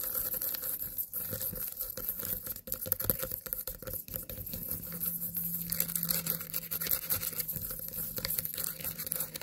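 Long nails scratch the top and stem of a small white pumpkin standing on a table, making a steady, dense rasp with a bright hiss and a faint low hum underneath. The level stays fairly even throughout, with a few slightly louder scrapes.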